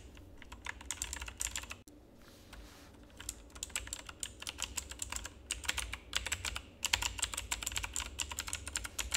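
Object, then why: Plastic mechanical keyboard. A full-size black plastic mechanical keyboard with RGB backlight, resting on a desk, is typed on with the fingertips of both hands. Rapid, bright, clicky keystrokes come in dense bursts, with a brief lull near the two-second mark, over a faint steady low hum. Each key strike is short and dry with almost no ring.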